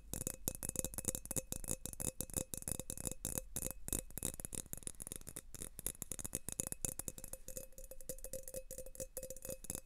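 An empty, thin clear glass tumbler is gripped in both hands while fingertips rapidly tap and rub its wall. A dense stream of quick, dry clinks and rattling taps carries a faint glassy ring near 520 Hz that dies almost instantly. Bright, hissy rubbing fills the gaps between the taps.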